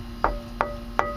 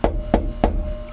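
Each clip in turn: First: Three firm metallic knocks with a brief mid tone; the bus panel sounds solid over its frame member. Second: Three even knocks, low and drummy with a brief faint tone, from a hollow thin metal bus wall.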